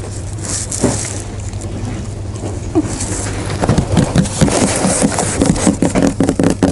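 A large, hollow cardboard shipping box of Nachos chips, held on the shoulder next to the ear, is worked with the fingers. Soft scratching over a steady low hum gives way after a few seconds to a run of quick, dull, hollow taps on the cardboard surface.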